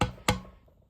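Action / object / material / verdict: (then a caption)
tap / steel engine valves in a cast iron cylinder head / steel / loose. Two sharp, woody taps ring briefly against the steel engine valves, which sit loosely and move in the removed cast iron cylinder head of a Perkins diesel from a Gehl 4600. The head is going off for machining and valve grinding.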